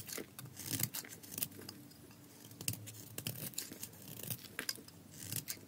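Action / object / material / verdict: scrape / bar of soap / soap / none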